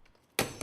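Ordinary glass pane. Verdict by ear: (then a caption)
Shattered. A 500 g steel ball is dropped onto a pane of ordinary glass to compare its strength, and the glass shatters into pieces. After a near-silent start, a sudden bright crash of breaking glass arrives, followed by a second sharp burst of shards.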